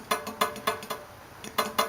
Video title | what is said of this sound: carbidetips | when you go to tap the blade, it's making some noise